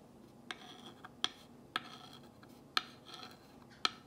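A glass rod tip is dragged along the white letters of a black-painted wooden box sign, making soft, bright scratching and tracing sounds. Six sharp, brief ticks stand out where the tip catches, separated by quiet rubbing.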